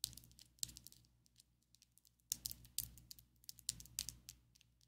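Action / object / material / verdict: tap / long acrylic fake nails / acrylic / none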